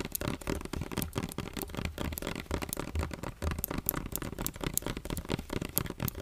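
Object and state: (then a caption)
Plastic lotion bottle. Fingernails tap and scratch over the body and label of a medium, partly full plastic lotion bottle with a yellow cap. A rapid, steady stream of dry, crackly clicks and rasping scrapes carries bright, sharp ticks above a soft, hollow low thump. Each tap dies away almost instantly.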